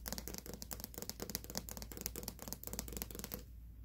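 Fingernails tap and scratch on the lid and sides of a cylindrical plastic pre-workout powder tub with a black lid, likely partly full. The result is a quick, steady run of crisp, dry clicks and scrapes with almost no ring, over a low constant hum. The tapping stops just before the end, leaving only the hum.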